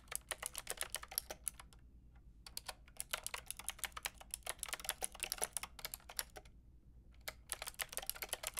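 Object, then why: Mechanical keyboard with round plastic keycaps. Fingertips with long painted nails type on a white-pink backlit plastic mechanical keyboard with round plastic keycaps. Bright, sharp clicks come in quick bursts, separated by short pauses. Each tap is dry and stops almost instantly over a faint low hum.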